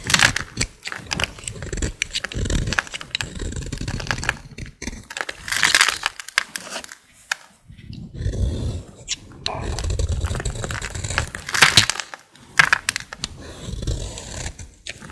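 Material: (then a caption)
Soap. A solid green bar of dry soap, held in the fingers, is scraped and carved along its edge with a utility blade. Gritty, crackling scrapes come in uneven bursts, with bright flaky crunches over a low rasp and brief pauses between strokes.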